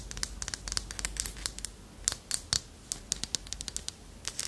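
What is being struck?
Small carved wooden figurine with ridged bands.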